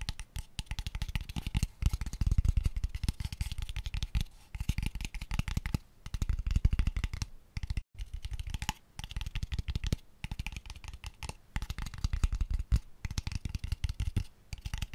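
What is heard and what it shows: A small, light-colored wooden square box with an open, hollow square end, empty, is held in the hands close to the microphone and tapped very quickly with fingertips and nails. The result is a dense, continuous patter of short, hollow, bass-heavy knocks that die away almost instantly, broken by a few brief pauses.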